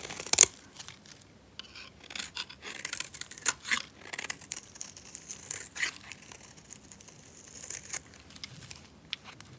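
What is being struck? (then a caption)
Bar of soap scraped with a metal blade. A solid, dry, red rectangular bar of soap, held in a hand with long nails, is scraped and shaved with a metal utility knife blade, sending flakes falling off. A series of crisp, dry scraping and crinkling strokes is heard, almost entirely high and bright with very little low end, opening with a sharp louder scrape. The strokes cut off quickly with no ring.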